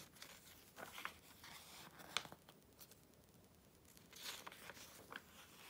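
An open glossy paper Vogue magazine, July 2013 issue, has its pages swept over by a hand and rubbed flat with the fingertips. Quiet, bright papery rustles and crisp swishes are punctuated by a few sharper crinkling snaps with almost no ring.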